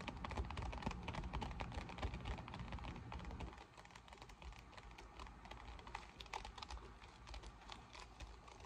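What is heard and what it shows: A deflated, folded silver PVC vinyl pool lounge lying flat on a table is scratched and tapped with long nails. Quick, uneven clicks and scratches patter over a low rumble. The low rumble drops away after about three and a half seconds, leaving softer tapping.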